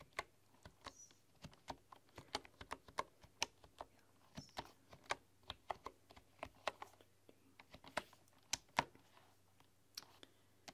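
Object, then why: Bamboo keyboard with wooden keys. Fingertips with long, dark-polished nails type on a full-size bamboo computer keyboard with wooden keys. About 26 short, dry, clicky taps come in an uneven run, each dying away almost at once over a faint steady low hum. The keystrokes sound woody and fairly bright.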